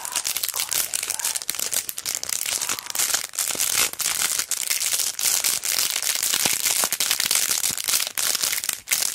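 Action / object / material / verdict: scrape / sticker strip in a plastic sleeve on card backing / plastic / none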